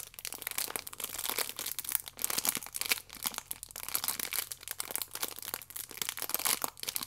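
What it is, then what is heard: Plastic-wrapped stack of sachets crinkling. Fingernails scratch along the sachet edges of a plastic-wrapped stack of yeast sachets, held by its side in both hands, scraping through the plastic film. Dense, bright crinkling and crackling continues throughout in quick bursts that swell and fade, with almost no low end.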